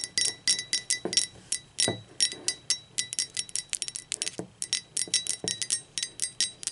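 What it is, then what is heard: Ceramic mug. Long pointed acrylic nails tap rapidly on the sides of a blue speckled ceramic mug that sits upside down and hollow. About thirty quick, bright clinks come in uneven bursts, each with a high ringing tone that dies away almost at once.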